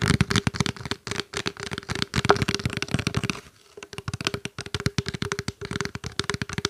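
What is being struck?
Plastic water bottle.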